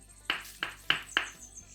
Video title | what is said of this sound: 🔥SALGADO BOMBA🔥 Muito Fácil e Delicioso! Inclua no seu cardápio | Quando eles estão congelados, eles ficam assim, com som de pedra.